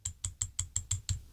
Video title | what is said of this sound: My New Favorite Pen - L130 From The Good Blue | if you tap it there's a little rattle it doesn't happen of course while you're writing but it does just vibrate and just rattle a little bit